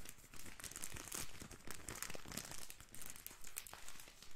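A small, soft, plastic-wrapped pocket tissue pack is squeezed and crinkled between the fingers. Quiet bursts of crisp, bright crinkling and crackling come in a steady, uneven rhythm, with a soft low rumble underneath.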